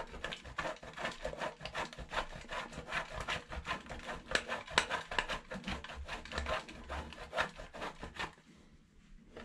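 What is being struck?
Bar soap on a stainless steel box grater.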